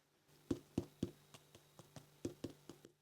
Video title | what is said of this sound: Something a bit different this week 😜 No Day out sorry, but I Baked Chocolate Twist Bread instead | do the little tap test on the bottom. See if it sounds hollow